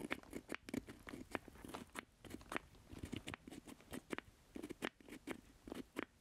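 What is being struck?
Plastic joystick controller base.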